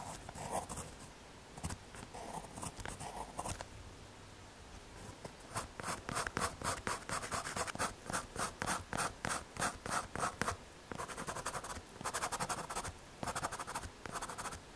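A graphite pencil tip scratches and shades across a small, solid, square brown MDF or hardboard panel (possibly a kraft paper pad) about 1 cm thick, held by fingers as it rests on a green corrugated sheet. Brief sparse strokes give way to a long run of rapid, irregular back-and-forth scratching with a dry, papery midrange rasp and a bright edge. There is almost no ring after each stroke.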